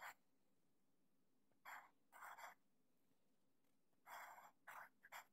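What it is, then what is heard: Pencil writing on graph paper. A sharpened wooden HB pencil writes Japanese characters on a thin, flat sheet of grid paper lying on a desk, its graphite tip scratching across the paper surface in short strokes. Seven brief, bright, hissy scratching bursts come in uneven groups, separated by quiet pauses over a faint steady background.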